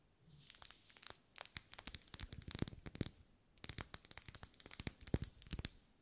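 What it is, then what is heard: Wax pillar candle. Long nails scratch and tap along the vertical ribs of a lit, hand-held pink pillar candle made of solid wax. The result is quiet, dense bursts of bright, dry clicks and crinkly scratches, with a short pause midway before the rapid tapping resumes.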